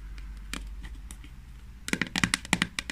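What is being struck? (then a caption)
Small plastic jar. Long nails tap and scratch the lid and sides of a small, hollow, green plastic Kamill hand cream jar held in the hands. Soft, faint scratching gives way to a quick flurry of sharp, bright, clicky taps with a hollow plastic knock. A steady low hum runs underneath.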